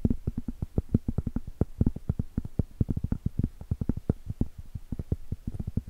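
Long stiletto acrylic nails tap and scratch the top of a round, flat, solid cork trivet held horizontally. Dozens of quick, dull, low-pitched taps sound in a busy, uneven rhythm, each one dying out at once with no ring and almost no bright content.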